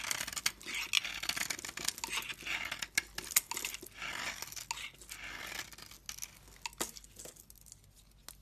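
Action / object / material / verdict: scrape / bar of soap / soap / none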